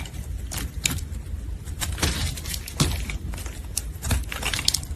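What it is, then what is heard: Bar of soap being sliced. A metal blade slices thin strips from a solid red translucent soap bar held in a gloved hand. Each cut gives a short, crisp, bright crackle with a scraping edge, repeating quickly and irregularly over a steady low rumble.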